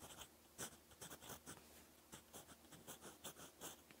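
A gold fountain pen nib scratches across a lined cream paper notebook page while writing Korean text. Quiet, bright scratching strokes come in short bursts with brief pauses between them, over a faint low hum.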